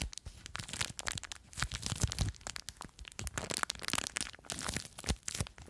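A small clear plastic bag full of blue foam beads is scratched and crinkled by long nails. Dense, bright crackling and crunching bursts come in uneven waves over a low rumbling underlayer, each snap dying away almost instantly.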